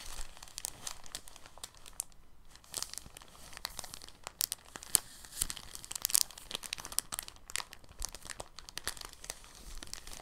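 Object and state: Soft plastic bag.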